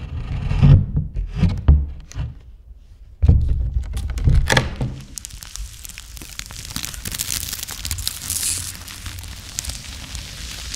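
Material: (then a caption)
Wood. Gloved fingers knock, tap and rub an old, large, solid-wood pink-painted door and frame in an abandoned building. The first five seconds bring dull, low thuds with a brief quiet pause, then a steady, bright scratchy rubbing continues to the end.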